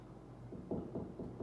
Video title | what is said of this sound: How to Put Up a Shelf | I can hear that there's a stud there, but I want to make sure.